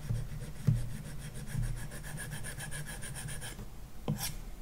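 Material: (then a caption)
Glass, matte film. A plastic stylus tip rubs back and forth across a large iPad's glass touchscreen covered with a matte screen protector, shading a shape. The strokes make a steady, rhythmic rasping scratch with bright, papery texture and a low body. Two sharper taps stand out, one near the start and one near the end.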